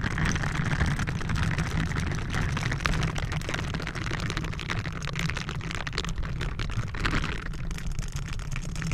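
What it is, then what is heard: Metal mesh microphone grille being scratched. Blue silicone bristle gloves rub and scratch a round, hollow metal mesh microphone grille from both sides. The result is a dense, continuous scratching and rubbing with a heavy, booming low rumble and a lighter crackle on top. It holds at a steady level throughout with no clear breaks.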